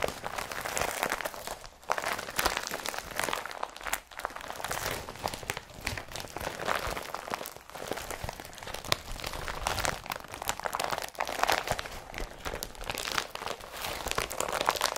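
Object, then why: Woven polypropylene carrier bag. An empty blue IKEA woven polypropylene bag is squeezed, crumpled and pulled open by hand. The result is a continuous run of dense, dry crinkling and crunching with bright highs and little low end, broken by a few brief pauses.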